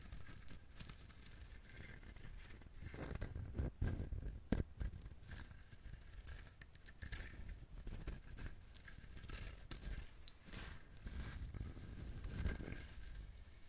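Fingernails scratch rapidly across the fibrous husk of a whole, brown, dried husked coconut. The result is a steady stream of dry, rustling scratches with brief brighter crackles, growing louder in bursts around the fourth and fifth seconds before settling back to a quieter, continuous scratching.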